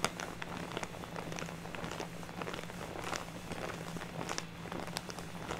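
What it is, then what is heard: Plastic bag of artificial snow. A large, full, soft purple plastic bag of fake snow lying on a table is tapped and scratched with the long nails of one hand. Quick, soft crinkling taps and scratchy rustles come in a steady stream over a low, constant hum. The sound stays quiet throughout.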